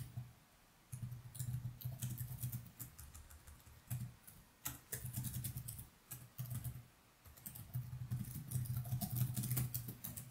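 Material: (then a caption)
Plastic. Fingertips of both hands type steadily on the plastic keys of a laptop keyboard resting on a desk. Bursts of quick, bright, short clicks come in uneven runs with brief pauses, over a steady low hum.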